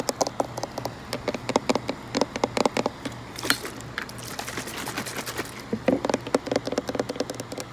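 Long nails rapidly tap and scratch a green, hollow plastic insect repellent pump bottle with an orange nozzle as it lies on a fabric mat. The sharp, bright, hollow clicks come in quick clusters, separated by scratchy rustling over a faint, steady low hum.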